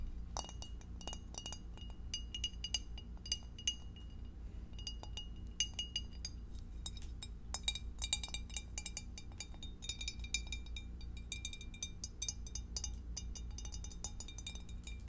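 Long acrylic nails tap rapidly on the underside, walls and divider of a clear, empty, hollow rectangular glass food container with a divider and no lid, held in both hands. The result is a dense stream of bright, short glassy clinks and ticks that fade almost instantly, over a steady low hum.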